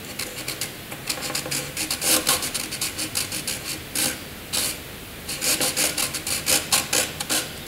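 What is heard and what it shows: A graphite pencil draws long vertical strokes on a sheet of white paper, making a dry, bright scratching rub. The strokes come in quick rhythmic bursts, pause briefly near the middle, then resume.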